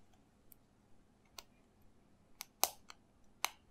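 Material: Plastic.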